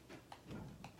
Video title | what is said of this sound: How to Make Pate a Choux LIVE Recipe Demo | and they're really dry, really light, and when you tap them, they sound hollow inside. So that's what you want. That's a good cream puff right there.